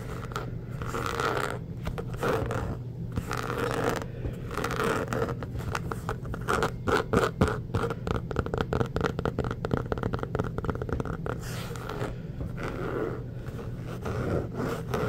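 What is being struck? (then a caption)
Inflated rubber basketball. Fingertips and short nails scratch and tap a full-size, inflated, hollow orange basketball made of pebbled rubber. The result is a steady, low, hollow rumble under dry, scratchy rasps, with a busier stretch of rapid, dense scratching and tapping in the middle before it settles back to slower strokes.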